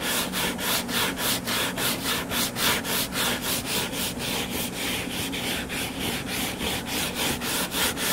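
Fingertips and nails scratch the cover of a solid, closed hardcover book lying flat on a table. The result is a steady run of dry, bright scratching strokes at an even, brisk pace, each a short burst of rasping hiss with little low end.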